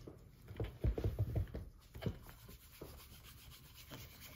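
A gloved hand rubs the upper of a hollow brown leather derby shoe with a white cloth while the shoe rests on a counter. Soft, low, irregular buffing strokes swish and thump, strongest in the first second and a half, then fade to lighter, quieter rubs.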